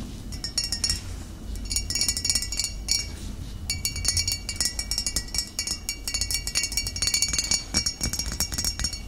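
Fingernails tap a glass bottle in quick bursts of bright, clear clinks, with short pauses between the runs. Each tap rings briefly with a high, glassy tone over a faint low background hum.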